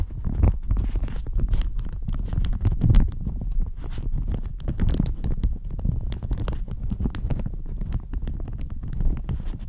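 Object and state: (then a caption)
Plastic shower cap. Long nails scratch and crinkle a thin floral plastic shower cap stretched over the microphone. The result is a dense, continuous stream of quick crackles and rustling scrapes, heavy and muffled in the low end with brief bright ticks, running steadily throughout with no pauses.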